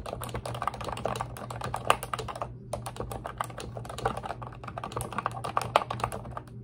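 Long red nails and fingertips type and tap quickly on a pink retro-style Ubotie plastic keyboard with round keycaps and a hollow body. The result is a dense run of short, bright, clacky key clicks with a brief pause partway through, over a faint steady low hum.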